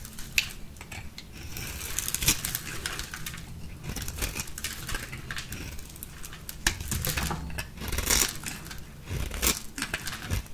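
A green, solid, rectangular bar of dry soap held in the palm is scraped and shaved with a small metal blade with a purple handle, and the shavings fall off. The clip is a steady run of dry, crisp scraping and crackling with bright, short ticks that die away almost instantly, plus a few sharper snaps along the way.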